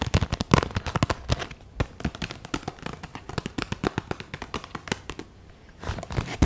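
A hand-sized clear vinyl zip pencil pouch with pink trim, full of markers and pens, is held in both hands and worked with fingertips and long nails, crinkling, tapping and squeezing the plastic. Quick, dry plastic clicks and crackly crinkles come in a dense, uneven stream with a slight low thump under them. The pattern thins out briefly near the end before a final flurry of louder taps.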